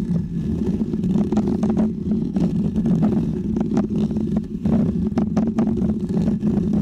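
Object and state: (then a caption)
Foam microphone windscreen being scratched. Fingernails and fingertips scratch a small, round, white, textured foam windscreen on a microphone. The sound is a dense, continuous low rustling rumble with a steady hum-like tone, broken by quick, brighter scraping flicks that come and go throughout.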